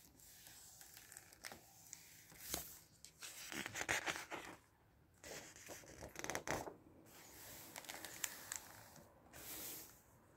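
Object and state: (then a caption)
Glossy paper book. A flat palm and fingertips rub across the glossy printed paper pages of a large open softcover book lying on a dark table, then a page is turned. Soft, irregular, bright papery swishes and scrapes rise and fall, with a louder crinkling sweep as the page flips over.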